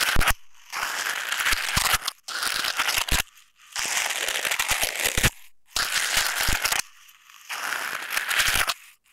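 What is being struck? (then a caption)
Coiled stainless steel wire scouring ball. A palm-sized coiled stainless steel scouring ball of hollow, springy wire mesh is squeezed and crunched by fingertips while pressed onto a tape-covered earbud mic resting on a wooden table. Bright, crackly metallic crinkling comes in repeated bursts, separated by short near-silent pauses.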